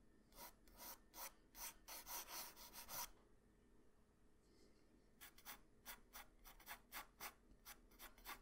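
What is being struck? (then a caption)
Graphite pencil on a paper sheet on a hard surface. A graphite pencil held in the hand scratches and rubs across a flat sheet of white drawing paper with a Goku sketch, lying on a hard surface, while drawing. Quick, bright, raspy strokes come in a dense run for about three seconds, pause for two quiet seconds, then return as a series of shorter, separate scratches.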